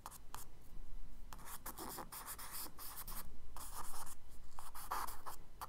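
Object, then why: Charcoal stick on kraft paper sketchbook page. A charcoal stick scratches and hatches across a tan kraft paper page in a spiral-bound sketchbook lying flat, drawing bushes. Short, dry scraping strokes come in quick, uneven bursts with a bright, gritty texture, over a faint low hum.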